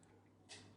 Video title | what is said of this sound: ഇങ്ങനെ ഒരു CAR നിങ്ങൾ കണ്ടിട്ടുണ്ടോ 😍Unboxingnew MJX H12+ monster rc car #unboxing #mjx | മുട്ടുമ്പോൾഉള്ള sound നിങ്ങൾ നോക്കിക്കേ മെറ്റലിന്റെ sound